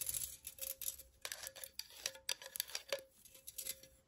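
Long nails scratch and tap along the cutout walls of a hollow pink perforated metal pen holder cup. The result is a rapid, uneven series of bright, crisp scrapes and clicks over a faint steady metallic tone, with each touch dying away almost at once.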